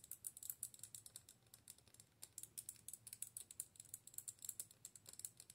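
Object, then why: Clear plastic orb wand. Long nails tap and scratch the hollow clear plastic sphere of a handheld light-up orb wand with LEDs inside and a dark handle. The result is a quiet, rapid series of about three dozen dry, bright clicks and scratches. Each dies almost instantly, with little low end, much like keyboard typing.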